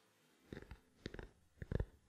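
A small, black, hollow plastic camera lens cap held in the palm is tapped with fingertips and nails. The taps come in three quick bursts: soft, dry, hollow knocks that are mostly low in tone, with a faint ticking click on top and almost no ring after each strike.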